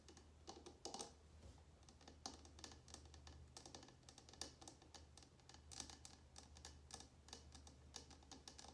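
A small glass jar candle filled with red wax is held on a table between both hands while long nails tap quickly on the glass. The result is a rapid, irregular series of bright, short clicking taps over a steady low hum.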